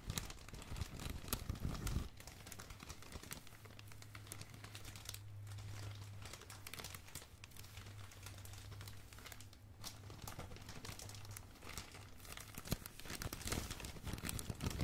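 A crumpled bundle of thin blue, red and black plastic bag film is squeezed and crinkled with fingers, giving dense, continuous crackling and crinkling with bright, snappy peaks. A steady low hum sits under the middle of the clip, while louder crinkle bursts come at the start and end.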